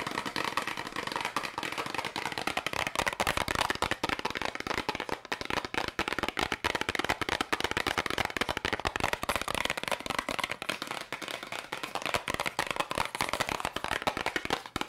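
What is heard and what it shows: A small, hollow, printed yellow and red cardboard candy box is held in the hands and tapped rapidly with long pink nails. The result is a dense, continuous stream of fast, dry, papery clicks and crackles. The sound is bright and centered in the midrange, with little low end and almost no ring after each tap.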